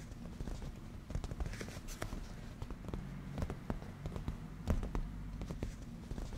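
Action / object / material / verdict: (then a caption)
tap / padded leather cushion / leather / none. Fingertips and black-painted natural nails of both hands tap and scratch on a padded, grained black leather cushion. Soft, dull taps and brushing scratches sit mostly in the low range over a steady, muffled bed, with occasional sharper clicks rising into the highs.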